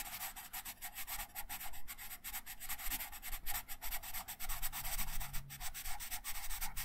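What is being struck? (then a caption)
Paper sheet under a wooden colored pencil. A wooden colored pencil held in the right hand rubs and scratches colour onto a thin printed paper coloring sheet lying flat on a wooden table, in short strokes. The result is a dense run of quick, dry, papery scratches with bright hiss, over a low rumble throughout.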